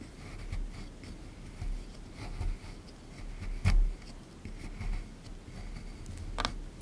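A small plastic pick tool scrapes and chips at a solid plaster excavation block in a tray in short strokes. Soft, gritty scratches sit over a low, dull rumble, broken by a couple of sharper, brighter clicks as bits chip away.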